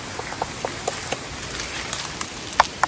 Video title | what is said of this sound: PAGPUNTA SA AMING COCONUT FARM BICOL | katuking ko nga. Buko yan. Saktong-sakto yan.